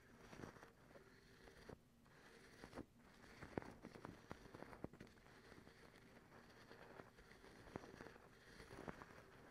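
Long acrylic nail tips scratch a white cotton terry cloth towel. It makes a quiet, soft, dry scratching and crackling texture, broken by brief sharp ticks that die away instantly, over a low steady hum.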